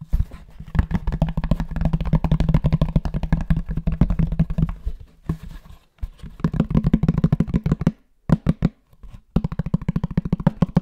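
A flat, rectangular, book-sized grey cardboard box with a textured linen-like fabric cover, seemingly hollow, is held in the hands and tapped and scratched on its cover with fingertips and nails. Rapid, dense, dull taps with a low hollow body and faint scratchy texture run in bursts, separated by short pauses near the middle and toward the end.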